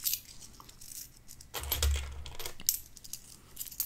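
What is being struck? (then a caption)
Pile of small metal coins on a wooden table. Fingertips slide, pick up and drop loose coins, a mix of copper pennies and silver-colored nickel-silver coins, back onto a pile spread on a wooden tabletop while sorting them, with some stacked coins nearby. The result is a run of bright, short metallic clinks and a denser scraping jangle in the middle, over a soft low rumble.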